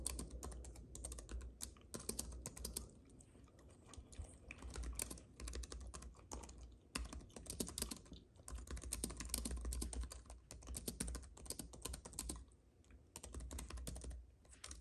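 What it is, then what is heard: Plastic and aluminium keyboard being typed on. Fingertips of both hands type on a compact white keyboard with plastic keys on an aluminium base, resting on a fuzzy mat. Rapid, dense clicky keystrokes come in bursts with short lulls, over a steady low hum.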